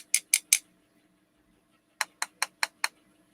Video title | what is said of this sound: Saturday Scrap Night Live 21-09-19 | it sounds like glass